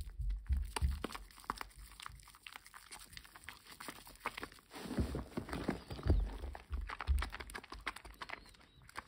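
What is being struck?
Bar of household soap.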